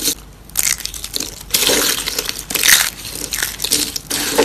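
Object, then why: Dried soap curls. A hand with long painted nails crushes and presses thin, dry pastel soap curls in green, purple and pink flat into shards on a wooden surface. Bright, brittle crunching and crackling comes in irregular bursts with very little low end, leaving the curls flattened into broken pieces.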